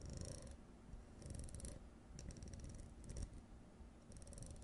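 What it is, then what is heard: Plastic jar lid scratched with nails. Long nails scratch along the ribbed rim of a blue plastic screw lid held on edge, giving soft, quiet bursts of fine, rapid clicking with a bright, ticking texture. A low, steady rumble runs underneath throughout.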